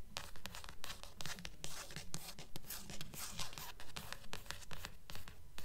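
Long nails scratch and tap the glossy card cover of a thick blue paperback book held upright, and along its edge near the spine. A steady, regular rhythm of bright, crisp scrapes and quick taps is heard, with soft low thumps underneath.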